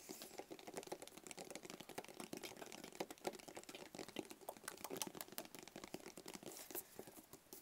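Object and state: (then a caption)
Cardboard box tapped. Fingertips tap rapidly on the lid and sides of a small, closed, hollow black cardboard gift box. The result is a dense, steady patter of quick, dry, hollow clicks with almost no ring and little low end, much like fast typing.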